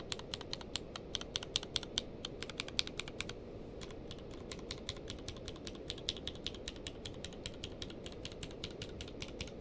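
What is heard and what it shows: One hand types with its fingertips across a grey-blue tenkeyless mechanical keyboard with plastic keycaps. The result is a quick, uneven stream of short, bright clacks that die away almost instantly, with a brief pause just past three seconds. A steady low rumble runs underneath throughout.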